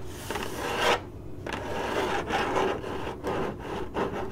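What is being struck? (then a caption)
Corrugated cardboard box. Long glittery nails on both hands scratch the lid of a hollow, printed corrugated cardboard box. Steady, raspy strokes come in bursts with short pauses. The scrape is dry and papery, centered in the mids, with a light bright edge.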